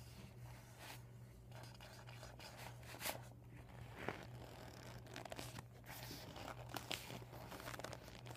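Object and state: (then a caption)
Deflated vinyl beach ball. Short nails tap and scratch a deflated, empty PVC vinyl beach ball with a yellow panel bearing marker writing. The result is quiet, crinkly plastic rustling with scattered sharp taps and brief tearing-like scrapes over a steady low hum.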